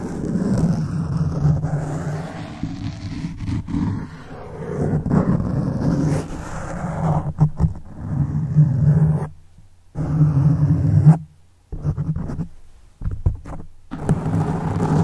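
Fingertips and nails scratch a black foam windscreen on a silver microphone. The result is a dense, low, muffled rumbling scrape with almost no high end. It swells and fades in bursts, with brief silent pauses near the end.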